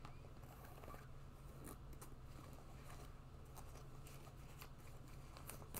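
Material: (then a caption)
Faux fur. An empty white boot with a fluffy faux-fur lined cuff is held while fingertips and nails rub and scratch the fur and upper. Soft, crackly scratching and rustling come in short bursts over a steady low hum.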